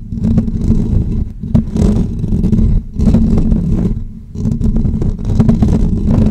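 Short natural fingernails continuously scratch the hollow metal wire-mesh grille of a bare pink USB condenser microphone held in both hands. The result is a close, dense, rumbling scratch that sits mostly in the low range with a steady hum-like tone near 207 Hz. It comes in long sustained stretches separated by a few brief dips in level.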